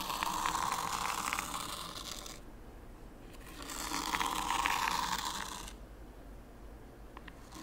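Fingertips pull a small wooden T-shaped rake through a shallow layer of fine white sand, with no stones, in a small pine-wood zen garden tray, combing parallel lines. Two long passes give a gritty, hissing scrape centred near 1 kHz with bright grainy texture and small ticks, each fading to quiet before the next.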